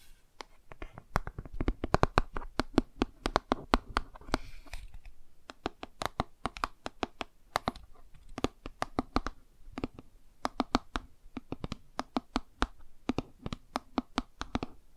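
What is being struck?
Laminated cardboard board book.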